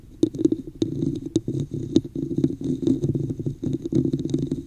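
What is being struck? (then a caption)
Textured plastic cup. Long nails of both hands scratch the top and sides of a hollow red plastic cup with an embossed pattern, held over the mic. A steady run of muffled, hollow scraping rasps is heard, dense and low-mid in tone, broken by sharper clicky scratches that flash up bright and fade almost at once.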